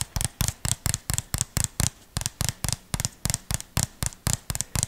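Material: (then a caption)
Plastic. A small, hollow white plastic jar with a red label and a screw lid is tapped and scratched with the fingertips close to the microphone. About 19 quick, separate taps give a dull, low thump with a bright, crisp click on top, each fading almost at once.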